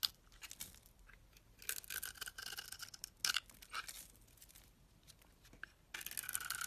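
A solid dark red Duru bar of soap, held in the hand, has its surface shaved with a metal blade to reveal the white core. Quiet, bright, dry scraping strokes come in uneven bursts with short pauses, almost no low end, and a dense final stretch of shaving.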